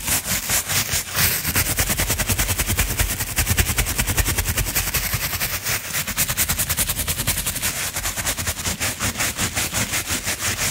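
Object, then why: Coiled jute rope mat brushed with a bristle brush. A natural-bristle, wooden-handled brush is swept back and forth over a round coiled jute rope mat. It makes a steady run of quick, scratchy strokes with a bright, hissing rasp over a low rumbling undertone, continuing evenly throughout.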